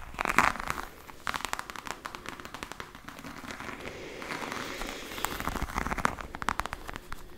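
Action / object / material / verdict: tap / textured faux leather hard case / faux leather / none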